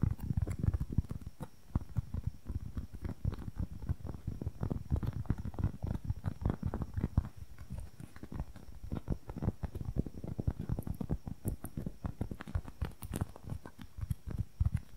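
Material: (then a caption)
Foam. A small, soft, solid red-and-white wedge-shaped foam makeup sponge is rapidly tapped and squeezed with long nails and fingertips. The result is a dense, continuous stream of quick, muffled, low-pitched thuds and soft pats with almost no ring and no high-frequency content.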